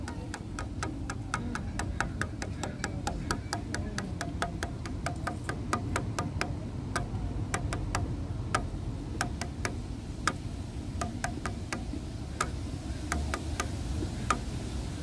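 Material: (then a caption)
Wood. Fingertips and nails lightly tap the grey, weathered slats of a solid wooden bench, making a steady run of short, dry, tick-like clicks. Each click is brief and bright, centred around 1.2 kHz, over a constant low rumble.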